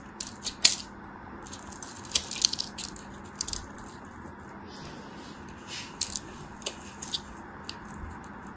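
A solid, translucent yellow glycerin soap bar, held in the hand, is scored and cut with a thin blade. Bright, crisp scratching and cutting sounds come in short, irregular bursts over a quiet, steady background hiss, with a few sharper snaps standing out.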